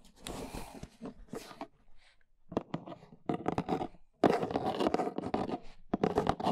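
A large, hollow, brown corrugated cardboard box is held upright while long nails tap rapidly on its sides. The taps come as dry, papery, scratchy clicks in quick bursts with short pauses between them, and a sharper, louder run starts near the four-second mark.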